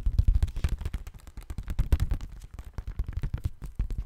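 A thin pale-yellow paper sheet, held in both hands in front of the microphone, is bent, rubbed and crinkled with the fingers. This makes a dense, crisp rustle of rapid crackles. The energy sits mostly in a low, thumping band under 200 Hz, and each crackle dies away almost instantly.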